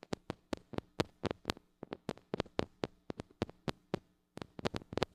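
Long acrylic nails tap and scratch quickly on the metal mesh grille of a small, gold-colored mini microphone with a metal body and hollow head, held in one hand. About two dozen sharp, dry clicks follow in uneven bursts, each dying away almost at once, with a faint low hum between them and a short pause near the four-second mark.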